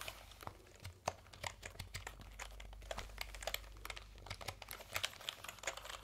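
A backlit plastic computer keyboard with round keycaps is held diagonally, then upright, while fingertips type and tap on the keys. Quick, bright plastic clicks and clatter come in uneven bursts over a quiet, steady low hum.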